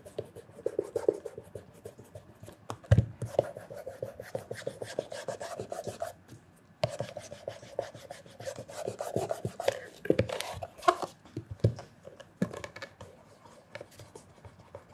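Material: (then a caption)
Leather. A black leather loafer with a leather sole and stacked heel, hollow and held on a counter, is polished at the toe and heel by cloth-wrapped fingertips. Soft, steady rasping rub strokes fill the clip, punctuated by a few sharper knocks against the shoe and a brief quiet pause midway.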